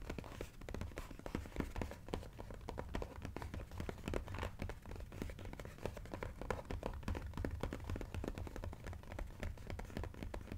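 Fingertips tap rapidly on the side edge of a cardboard sushi jigsaw puzzle box held in both hands. The result is a steady, dense stream of short, dull, hollow taps with a soft low thump and almost no ring, under a faint rustle of handling.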